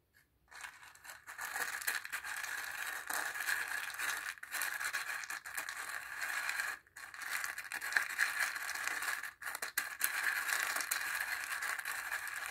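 A thin wooden stick stirs and scrapes dry chickpeas inside a small hollow bowl made from a dried ornamental gourd with a zigzag-cut rim, partly filled and held in one hand. The result is a continuous dry rattling and scratching, bright and centered in the mid-range with no low end, broken by brief silent pauses near 0.5, 7 and 9.4 seconds.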